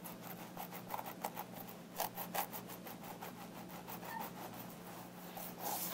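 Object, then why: Synthetic hair wig on a mannequin head. Fingertips with long nails slowly scratch and massage the scalp around the part of a long black synthetic hair wig on a mannequin head. The result is quiet, dry, bristly rubbing and scratching strokes with a few brighter scrapes, over a faint steady low hum.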